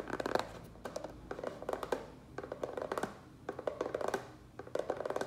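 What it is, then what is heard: Plastic tray tapped with fingertips and nails. Fingertips and nails tap fast on the base of a small black plastic rectangular tray, turned upside down, hollow and empty. The result is bursts of quick, hollow clicks with a midrange body and a very short ring, separated by brief pauses.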